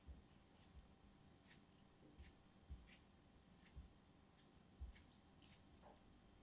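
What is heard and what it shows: A thin dark knife blade cuts and scrapes a small, solid green block of molded kinetic sand held in the hands, and the sand crumbles between fingers with long nails. About eight quiet, irregular crisp ticks and soft scratches are heard, each with a bright edge and a faint low thump, against a low hiss.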